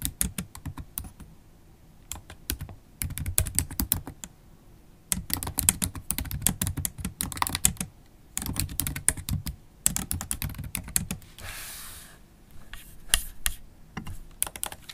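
Long black holo acrylic nails type on a MacBook Pro keyboard with black plastic keys, making quick, clicky taps in bursts separated by short pauses. Each tap has a bright click over a soft low thump. Near the end, a brief, soft brushing sound comes as the hands settle onto the aluminium palm rest before a few final taps.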